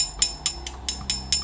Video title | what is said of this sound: Review Mini Laser UPS Way Maker Lensa Lensa Bluelens | suaranya nyaring berarti ini adalah aluminium